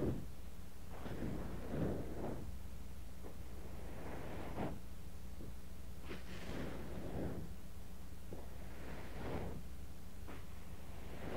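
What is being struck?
Nothing is struck.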